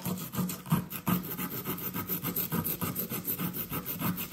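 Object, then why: Compressed sand block scraped with a plastic chisel. A blue plastic chisel repeatedly scrapes a solid blue compressed sand dig brick, which crumbles onto a paper towel. The result is a steady run of soft, gritty rasping strokes with a rustle of loose sand, mostly low and dull in tone.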